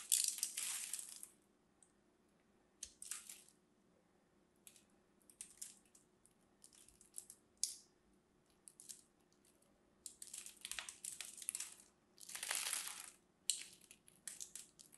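A craft knife cuts criss-cross scores into a hand-held solid lavender and white striped bar of soap and shaves off small crunchy flakes. Bright, crisp crunching and scraping bursts come in irregular strokes separated by near-silent pauses, over a faint steady low hum.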